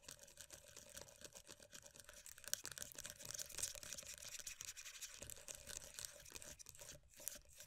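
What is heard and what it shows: Long nails rapidly tap and scratch on the lid and edge of a closed, round plastic moisturiser tub for body cream with a black rim. The result is a dense, irregular stream of quick, dry clicks and scratchy rasps, mostly bright and high with very little low end and almost no ring after each tap.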